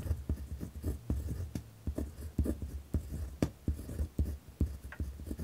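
A pen tip scratches across a white lined paper pad resting on a wooden desk while writing. The result is a rough, close scratching with a series of short, sharp taps and strokes over a low, thick rumble.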